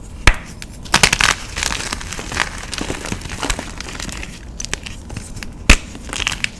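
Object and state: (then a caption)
Gym chalk block being crushed. A solid white magnesium carbonate gym chalk block, held in both hands, is broken apart and crushed between fingers and thumbs. Sharp, bright snaps stand out over a steady dry crumbling and crackling texture, with faint low rumble underneath.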